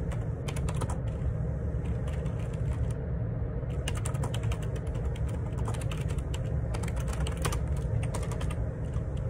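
Fingertips type in repeated key presses on a black plastic Perixx Periboard 612 wireless Bluetooth split ergonomic keyboard, with a hollow housing and plastic keycaps, resting on a desk. Quick, bright tapping clicks run through a steady low rumble that fills most of the sound.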